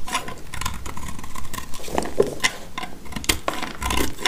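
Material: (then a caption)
Soap. A black utility knife blade shaves and scrapes crumbly curls from a solid, dry blue soap chunk held in the hand. The result is a steady run of short, dry crackling scrapes and crisp snaps. Each has a brief bright edge and a low rumble underneath.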